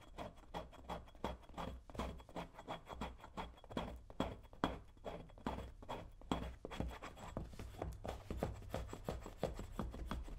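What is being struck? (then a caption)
Leather cowboy boot. A brown leather cowboy boot is held in one hand while a metal tool scrapes along its shaft. The clip is a quiet, irregular series of short, rasping scrapes with a low, dull body.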